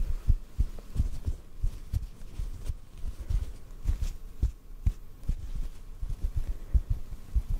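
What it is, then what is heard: Cotton ball tapped. A small white cotton ball held in front of a microphone is tapped lightly with fingertips. The taps come through as soft, muffled low thumps with almost no ring, repeating steadily over a faint low hum.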